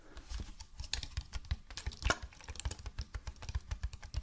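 Fingernails tap rapidly on the body and around the red cap of a hollow white plastic bottle. The result is a quick, uneven run of short, dry clicks over a soft low thump, each dying away almost instantly, with a few brighter, sharper ticks standing out.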